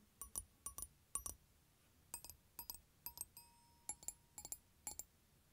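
Fingertips tap aluminium glockenspiel bars sitting in a plastic case, and a flat hand rubs across them. About eighteen light taps fall in quick pairs and small clusters, each giving a bright, high metallic ping that fades fast, with one note ringing a little longer over quiet gaps.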